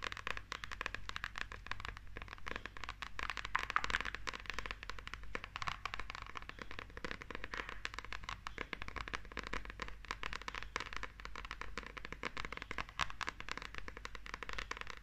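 A small, solid glossy paperback manga book with a holographic cover is held in both hands while long nails scratch and tap across the cover. The result is a steady, dense stream of dry, crackly scratches and quick taps centered around 1.2 kHz, with no ring after each hit, over a constant low hum.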